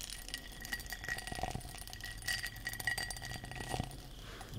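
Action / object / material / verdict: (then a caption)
tap / textured glass object / glass / none. A textured glass object is tapped and scratched with long nails, giving a quick run of light, glassy clinks and scrapes. A thin ringing tone sits near 1.9 kHz with bright scratchy texture above it, and each tap dies away almost at once.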